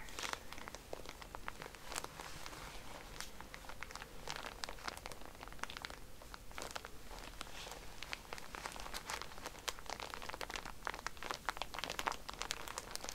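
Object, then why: Pack of cotton pads in a plastic wrapper. Hands squeeze and rub a soft, full pack of cotton pads in a plastic wrapper, making it crinkle. Quiet, dense crinkling runs throughout, with sharp, bright crackles that die away almost instantly over a faint low rumble.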